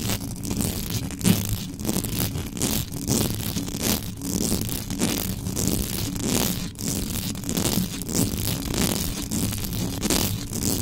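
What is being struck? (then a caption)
Metal mesh microphone grille. Long yellow nails scratch the hollow metal mesh grille of a black condenser microphone from the front and the top. The result is a fast, intense, continuous run of rough scraping with a heavy low rumble and bright, crackly, hissing edges.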